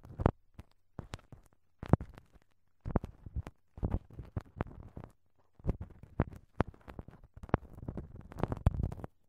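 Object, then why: Plastic cling film wrapped over a silicone ear, rubbed with a wooden pick. A thin wooden ear pick scratches and rubs clear, crinkled plastic cling film wrapped over the left silicone dummy microphone ear. The result is a quiet run of short, dry crinkling and scraping bursts with sharp clicky edges, mostly low-heavy with a faint steady low hum underneath. There are brief silent gaps between the bursts.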